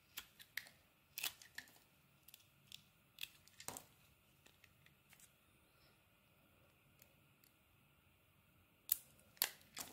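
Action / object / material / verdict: scrape / soap bar scraped with a steel blade / soap / none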